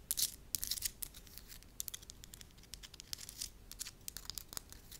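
A pale-yellow sheet of soft wax is held at the fingertips and stretched, folded and crinkled by hands with long nails. Dense, crisp, high-pitched crackling and tearing-like snaps burst loudly at the start, then settle into a quieter, steady stream of fine crinkles with scattered sharp clicks.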